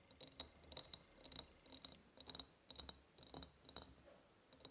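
Long nails tap and scratch the sides of an empty, ribbed, clear glass jar. Quiet clusters of quick, bright clicks and high glassy ticks come in short bursts separated by near silence, each tap dying away almost at once.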